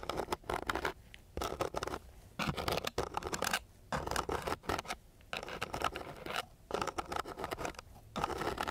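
The end of a thin wooden stick scratches across a flat sheet of coarse, gritty sandpaper near an untouched microphone. Dry, bright rasping comes in repeated bursts separated by short quiet pauses.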